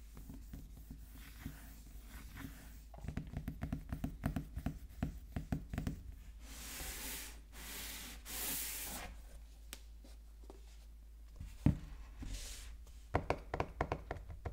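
A small sealed cardboard iPhone box lies face-down on a table while fingertips and short nails rub and scratch its surface. Soft, dry scratching and quick tapping clicks come in bursts over a low hum. Two longer, brighter swishing rubs in the middle are followed by a few sharper taps near the end.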